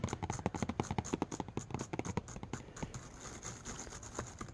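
Fingertips of one hand tap repeatedly on the flat, glass-covered display of a MacBook laptop showing a grid of video thumbnails. The quick, dull, low-heavy taps die out almost instantly, coming in a fast, steady stream that grows softer and more blurred together in the second half.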